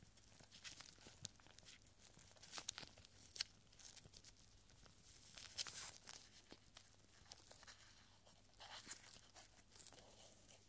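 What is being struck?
Small rolled paper scroll.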